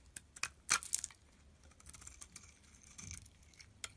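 A metal utility blade slices pieces off a solid, dusty yellow bar of soap held in the palm. Bright, crisp scraping and cutting snaps come in quick bursts, loudest in the first second. They then trail into quieter, softer scraping with one more sharp snap near the end.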